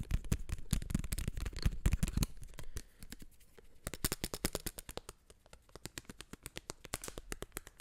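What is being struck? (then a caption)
Plastic eyeglass frame. Fingertips and nails tap and scratch the frame and arms of small black plastic-framed eyeglasses held right at the microphone. A dense, loud burst of scratchy rubbing with heavy low thumps fills the first two seconds. It gives way to quieter, rapid, irregular dry clicks and taps that stay close and bright.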